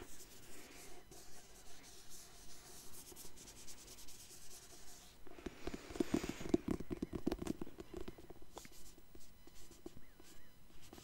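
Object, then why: Hardcover book with paper-covered board. Fingertips with painted nails work over the printed paper cover of an illustrated hardcover book, Complete Alice, made of paper and board. A quiet, steady rhythm of soft scratching and rubbing on the cover swells midway into a louder, busier burst of sharp scratches, then settles back to gentle strokes.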